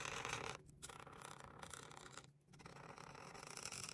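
A hand with long pink nails rubs and scratches a marker's chisel tip back and forth across a thin white coloring book page lying flat on a table, filling a square with pink. The result is a steady, bright, scratchy rubbing with two brief pauses between strokes.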